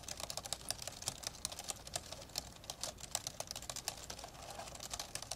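Fast two-handed fingertip typing on the plastic keys of an old, open, dark grey plastic laptop. It makes a quick, steady stream of bright, dry clicks and taps that stop almost instantly, with very little low end beneath them.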